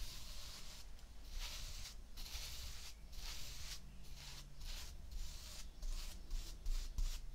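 A flat paintbrush with a wooden handle brushes across a layer of tan kinetic sand spread on a white ceramic plate. Soft, bright, hissy swishes repeat in quick, uneven strokes separated by brief pauses, over a faint low rumble.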